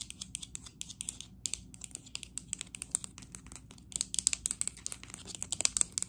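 Long acrylic nails tap fast on a green matte textured ceramic cup or small planter, hollow and apparently empty, held in both hands. About 39 sharp, bright, dry clicks come in quick bursts with almost no ring, and they grow louder over the last two seconds.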